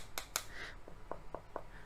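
Knocks on the one-piece aluminum alloy back cover of a BOOX Tab Ultra e-ink tablet. Five short, dry taps are heard, two sharper ones followed by three lighter ones, each dying out almost at once without ringing. The back sounds very solid.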